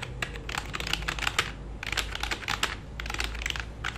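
Fingertips of both hands type on a black full-size plastic computer keyboard resting flat on a lap. The result is a quick, uneven run of short, bright plastic key clicks that die away almost instantly, over a faint low hum.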